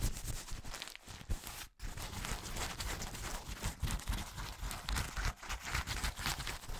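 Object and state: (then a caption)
Paper tissue, crumpled. A thin white paper tissue held beside the microphone is crumpled and rubbed with fingertips and nails. It makes a dense, continuous crackling rustle with heavy close-up low rumble and bright crinkle, briefly dropping out near the two-second mark before resuming.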